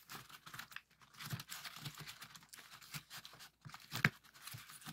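Fingertips of both hands push and pop the hollow folded cells of a heart-shaped origami pop-it made of colored paper, held on a table. A quick, uneven run of soft, crinkly paper pops and crackles follows, with one sharper, louder pop near the end.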